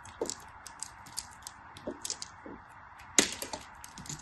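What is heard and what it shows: A small black-handled blade shaves and scrapes a solid translucent green glycerin soap bar held in hands with white nails, taking off thin slivers. About ten short, crisp scraping cuts are heard, each bright, high and crackly with almost no ring, the loudest coming past the three-second mark.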